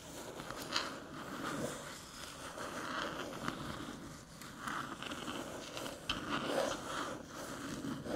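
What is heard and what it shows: Long metallic nails tap and scratch the top of a small, flat, hollow aluminium USB-C hub near its edge as it rests on a dark table. Continuous scratchy rasping is broken by sharper metallic taps with a thin ring around 1.4 kHz and bright crackly detail. The sound stays quiet and close throughout.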